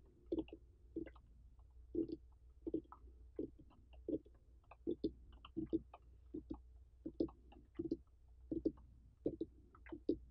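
Fingernails and fingertips of both hands tap and scratch the ribbed rind of a large, uncut orange pumpkin with a dry stem, its rind intact and not hollowed. The long painted nails make quiet, short, dull knocks with a low-mid tone in an irregular series, each dying out almost at once. Faint bright scratchy clicks sound between the taps.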